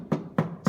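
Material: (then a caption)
Sheet steel. A steel car floor pan section covered with a sound deadening sheet is tapped three times. Each tap gives a single solid, low thud that dies away almost at once, with no ringing. The deadener has removed the panel's resonance and vibration.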